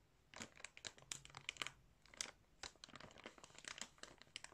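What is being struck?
Clear plastic bag filled with yarn.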